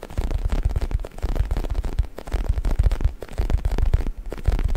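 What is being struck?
Stuffed faux leather neck pillow.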